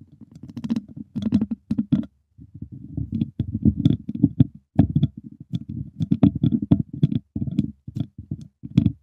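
Two wooden chopsticks held in the fingertips tap and scratch the hollow, dome-shaped wire mesh grille of a large silver USB microphone. The result is a dense, rapid patter of dull, low, thumping taps and scratchy rustles in quick bursts, broken by brief pauses. Faint, bright little clicks ride on top, and every hit dies away at once.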